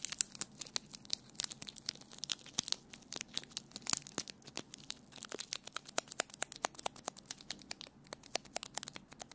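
A small ball of crumpled clear plastic sticky tape is held close to the mic and squeezed and rubbed with the fingertips. It gives a dense run of sharp, bright crinkles and crackles with almost no low end, each snap dying away instantly. The sound stays fairly quiet throughout.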